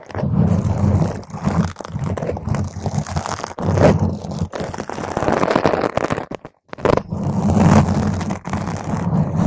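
Long green nails scratch the sides and top of a round purple foam microphone cover, producing a dense, continuous rasping scratch with a heavy, boomy low end. The scraping swells and fades in waves and breaks off in a brief silence about two-thirds of the way through before starting again.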